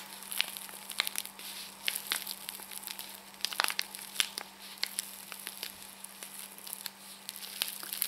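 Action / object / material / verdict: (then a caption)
scrape / paper and foil tea sachet / paper foil / none. A small, flat, individually wrapped Hampstead Tea sachet in a paper and foil envelope is held close in both hands while long painted nails and fingertips crinkle and squeeze it. The result is a run of irregular, sharp, bright crackles and crinkles over a low steady hum.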